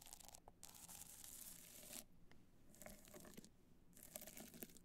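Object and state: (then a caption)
Rhinestone-covered hard-shell clutch. Long black nails scratch across a small, hollow black hard-shell clutch covered in multicolored rhinestones, resting on white fur. Bright, gritty scratching comes in three main bursts, each with a clicky, crinkly texture, separated by quieter pauses.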